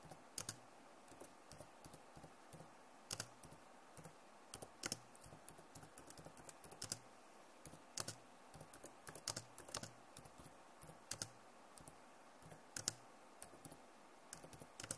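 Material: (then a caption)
Plastic. Both hands with long nails type fast on a backlit plastic laptop keyboard. The result is a quiet, steady stream of short, bright clicking taps that die away almost instantly, with a few louder keystrokes standing out from the rest.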